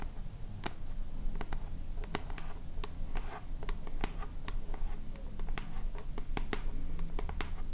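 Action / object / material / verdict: tap / plastic pump bottle / plastic / none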